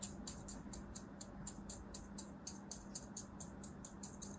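A thin knife blade scores crosshatch lines into a solid beige mound of kinetic sand held on a palm, with long white nails visible. It produces a quick, even run of crisp, bright ticks and scrapes over a quiet, steady low hum.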